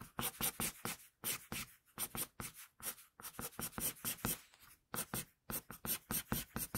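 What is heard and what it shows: A wooden pencil draws quick, short hair strokes across a flat sheet of drawing paper, making a rapid series of crisp, bright scratching sounds. The strokes come in close bursts with brief pauses between groups.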